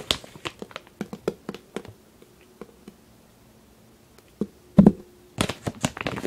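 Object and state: Plastic bag of kinetic sand.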